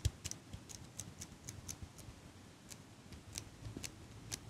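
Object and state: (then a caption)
Metal eyelash curler. Long pink nails click the handles and tap the frame of a small metal eyelash curler held close to the mic. About a dozen short, dry, bright clicks and taps come at an irregular pace, each dying away almost instantly. A faint low rumble sits underneath.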